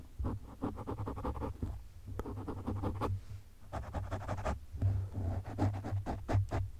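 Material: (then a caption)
Foam. Fingertips and short nails of both hands scratch and rub across a black, medium-sized, rounded windscreen of soft porous foam over a microphone. The result is a close, muffled scratching in quick rhythmic bursts, heavy in low rumble with short, dull strokes that stop almost at once.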